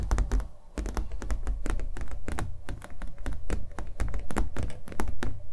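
A small acrylic-painted stretched canvas on a hollow-backed wooden stretcher frame is held in both hands and tapped with fingernails on its surface and edges. A rapid, uneven run of dull, hollow thunks with a low boomy body and crisp, bright click tops, each dying away quickly.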